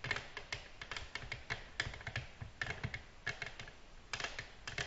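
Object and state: Glass tabletop tapped with fingernails.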